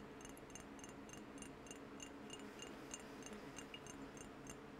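Nails and fingertips tap rapidly on a square AllSaints glass perfume bottle with a cream cap, held in one hand and partly filled with amber liquid. Each quiet tap makes a light, bright glassy click with a faint ring near 2.8 kHz, over a steady low background hum.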